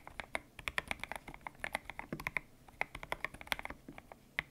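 Fingertips type on a white-cased mechanical keyboard with grey and pink PBT plastic keycaps, its hollow case resting on a desk mat. A quick, uneven run of about 29 short, sharp key clicks is heard. The clicks are bright, dry and mostly high-pitched, and each one dies away almost instantly.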